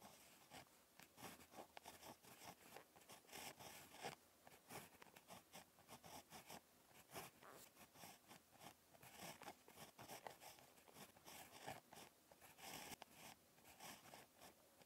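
A ballpoint pen tip scratches across a page of lined spiral notebook paper during handwriting, making quick dry scraping strokes with a bright, hissy edge. The pen lifts briefly between strokes, leaving short pauses in an otherwise steady, quiet scratching.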